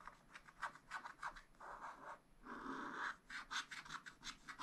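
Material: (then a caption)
Coated paper. A wooden stylus scratches a black wax-coated scratch-art sheet in a spiral-bound pad. The result is a quiet, dry, papery scraping of quick short strokes and two longer drawn scrapes in the middle, bright and rasping with no low rumble.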